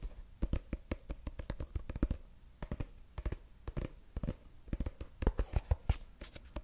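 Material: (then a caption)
Plastic. Fingertips and short nails tap and scratch the flat surface of a medium-sized, apparently filled, mint-green soft plastic cosmetic squeeze tube held close to the mic. Quick, dull, bassy taps fall in uneven bursts with brief scratchy rasps between them. Each tap dies away almost instantly.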